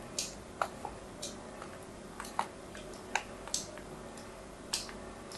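A small metal blade held to a solid white bar of soap with an embossed logo scores diagonal lines across it in the hand. Short, crisp scratches and clicks come irregularly, each a bright, dry tick that dies away almost at once over a faint, quiet background.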